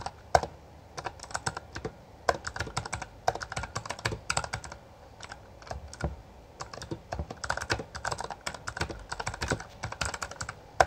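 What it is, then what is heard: Plastic mechanical keyboard. Both hands type continuously with their fingertips on a full-size backlit Bloody B820R mechanical keyboard with plastic keycaps. The result is a steady run of short, sharp clacks with quick bright attacks and a little low thump, coming in bursts separated by brief pauses.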